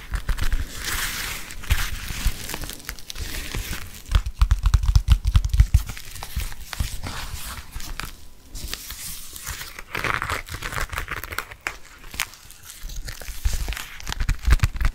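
Fingertips and nails scratch and tap the outside and card slots of a black glossy leather bifold wallet held close to the mic. The result is a steady run of crinkly, rustling scratches and quick soft taps, with a heavy low thump from the close handling and a brighter hiss in the scratchier passages.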